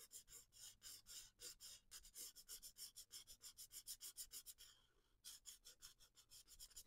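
A felt-tip alcohol marker, held by a hand with long painted nails, rubs and scratches across the paper page of a spiral-bound coloring book lying flat on a wooden desk while coloring. Quick, bright, dry scratching strokes repeat at a steady back-and-forth rhythm of about three per second. The strokes briefly soften and pause near the five-second mark before resuming.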